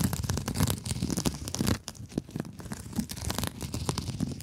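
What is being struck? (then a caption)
Mesh scrub sponge. Long acrylic nails scratch across a soft, rectangular blue scrub sponge wrapped in woven mesh, making a dense, rapid run of crinkly, rasping scrapes. The scratching is loudest in the first stretch, drops to a quieter, thinner rasp, then builds back up toward the end.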